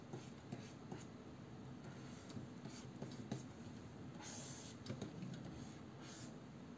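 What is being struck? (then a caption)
Plastic stylus nib on a matte glass pen display. A plastic stylus nib scratches and taps across the matte glass surface of a large, solid Wacom Cintiq 22 pen display during line drawing. Quiet, low-weighted scratching runs throughout, broken by soft, short ticks and occasional brighter swishes of the nib across the glass.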